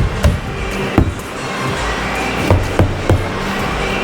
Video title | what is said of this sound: Learn About Plasterboard walls #diy | if it sounds like this, then that means it's uh fixed enough